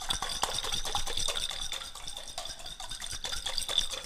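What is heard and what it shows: A small clear glass jar, partly filled with water and what look like ice or crystals, is held in one hand and shaken and tilted close by. Water and contents slosh and clink against the glass in a steady, irregular rattle of many quick, bright taps over a sloshing wash, with a thin high ring from the glass.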